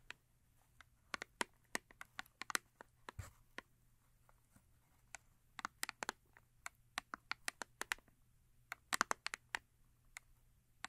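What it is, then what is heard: Cardboard soap box. Long acrylic nails tap and scratch the top face of a small printed paperboard box for a Yardley rose & rhubarb soap bar, likely still holding the soap, as it rests on white fur. The result is a few dozen quiet, sharp, dry clicks in irregular bursts, each bright and snapping off instantly with no ring, over a faint low hum.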